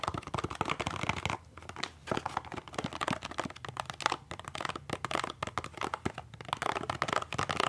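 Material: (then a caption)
Cardboard. A small, hollow, printed cardboard box for peppermint toothpaste is held in one hand and tapped and scratched along its sides and face with the fingertips and short nails of the other hand. Dense, dry clicks, crinkly scratches and soft papery crunches run almost continuously, with a few brief pauses near the start. The taps are short with no ring, and the tone is mid-range with a bright papery edge.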